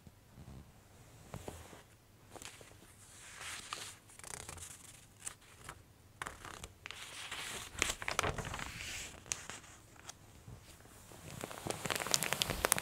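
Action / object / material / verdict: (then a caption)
scrape / glossy paper catalog / glossy paper / none. Long nails and fingertips rub and scratch across the surface of a glossy paper women's clothing catalog. The page is then turned with a crinkling rustle and the spread is pressed flat by hand. The dry, bright scratching comes in many quick, uneven strokes.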